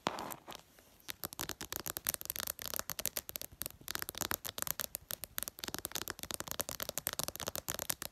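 Long purple nails tap quickly on the reflective glass screen of a smartphone lying flat. Around forty sharp, dry clicks come in a rapid, uneven stream, each bright and clipped with almost no ring, after a short soft scuffing start.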